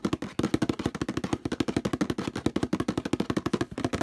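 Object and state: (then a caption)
Plastic detergent bottle. Fingertips scratch and rub fast near the handle of a hollow orange plastic detergent bottle with a textured surface. About thirty quick, dry, hollow strokes run in a steady rhythm, each with a low-mid plastic thump and almost no ring.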